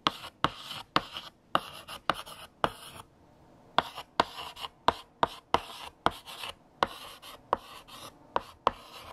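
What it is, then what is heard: Chalk writing on a chalkboard. A hand writes with pink chalk on a large, flat black chalkboard, the chalk tip scratching across the surface and tapping against it while forming letters. Seventeen sharp, dry taps stand out between bursts of bright, gritty scratching, with a short pause a little after three seconds.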